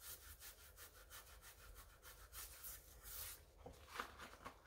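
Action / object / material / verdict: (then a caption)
scrape / rubber and foam sneaker sole / rubber / none. A rubber-gloved hand scrubs the wet white rubber and foam sole of a pink mesh sneaker with a wooden-handled scrub brush over a basin. Rhythmic, bristly strokes produce a steady, bright rasping hiss. A few sharper squeaky scrapes come near the end.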